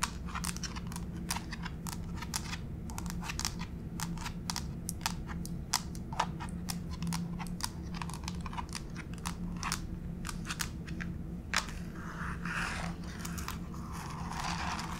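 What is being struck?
Wood-look laminate floor.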